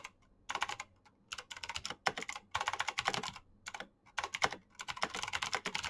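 Fingertips type rapidly on a black Razer mechanical keyboard with plastic keycaps and green switches. Bursts of sharp, bright clicking alternate with short pauses, and each click dies away almost instantly.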